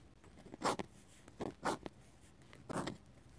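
A metal-nib dip pen scratches ink lines onto a paper page of a hardcover sketchbook. Three short bursts of dry, bright scratching, each centered around 1 kHz, are separated by pauses with a faint background hiss.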